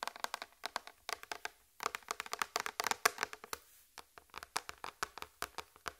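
Long red fingernails tap a large, flat white plastic tray in quick, uneven bursts, about 33 taps. Each is a dry, bright click with almost no ring or low end, and the tapping pauses briefly near the middle and again before the final run.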